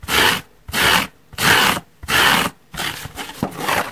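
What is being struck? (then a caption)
Large porous foam sponge. Long nails and fingertips scratch the surface and side edge of a large yellow porous foam car sponge resting on a wooden table. Four separate bright, rasping strokes are followed by a rougher, more continuous stretch of scratching with small scrapes.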